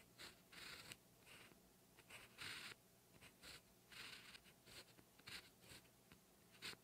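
A black 0.5 ballpoint pen tip writes Korean characters with a steady scratching motion on a lined cream page of a paper notebook, laid flat on a solid backing. Short bright scratchy strokes come in bursts separated by brief pauses, with a faint low hum underneath.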